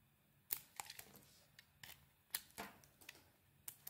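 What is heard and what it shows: A small metal blade carves into a solid, hand-sized purple bar of soap with a pink interior. It makes 13 quiet, bright, crisp scrapes and clicks at irregular intervals, each dying away almost instantly over a faint low hum.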